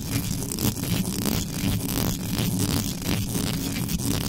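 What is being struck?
Metal mesh microphone grille.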